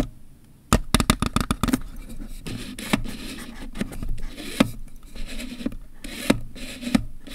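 Fingertips tap and scratch the textured plastic grip and body near the buttons of a black Canon EOS 1000D DSLR with kit lens, its hollow plastic body held still on a surface. A quick run of short, hollow clicks and taps opens the clip, followed by softer rubbing scrapes and occasional sharper taps. The sound is dry and low-pitched, with little ring after each hit.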